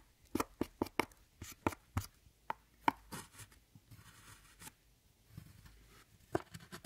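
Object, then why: Pressed eyeshadow powder in a palette, worked with a metal tool. A metal tool chops and scratches pressed powder in an eyeshadow palette, breaking it into flakes. A quick run of sharp, dry taps with a mid-high click is followed by softer, gritty scraping and a few final taps.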